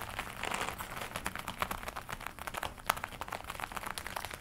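Long nails scratch and rub a glossy black leather jacket worn on the body, across the chest and upper arms. The result is a steady stream of soft crinkling and sharp scratchy ticks with a bright, crisp edge.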